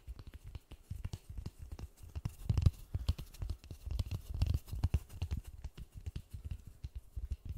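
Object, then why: Polystyrene foam ball. White-gloved fingertips tap quickly on a large white polystyrene foam ball. The result is a fast, irregular run of soft, dull, low thumps that die away almost instantly, with a few louder taps in the middle.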